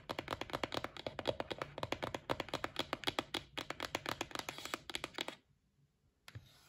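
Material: Cardboard.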